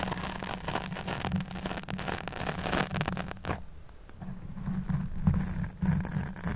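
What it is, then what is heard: Foam microphone windscreen being scratched. Fingertips and nails scratch and stroke a black foam windscreen on a microphone while the other hand holds the mic body. The result is a dense, close, low-heavy rustling and scraping with crackly broadband texture. The sound thins briefly around the middle before the scratching picks up again.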